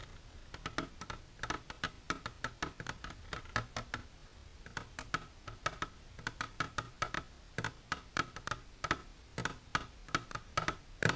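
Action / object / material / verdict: tap / plastic container / plastic / none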